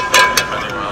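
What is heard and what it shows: A bell 3D-printed by Polymaker from PPS-CF, a carbon-fiber-reinforced filament in their Fiberon line, is struck twice. Each hit gives a bright, metallic ring around 2.6 kHz that fades quickly. It sounds like metal despite being printed plastic.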